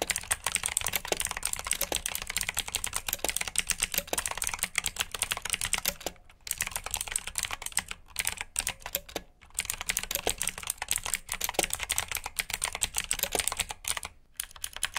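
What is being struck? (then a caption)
Plastic mechanical keyboard. Fingertips with short nails type on a full-size black plastic mechanical keyboard with RGB backlit keycaps, clicky blue switches and hollow key housings. A steady stream of sharp, bright clicks rattles on, pausing briefly near 6, 8, 9 and 14 seconds. Each keystroke is dry and short, with almost no ring.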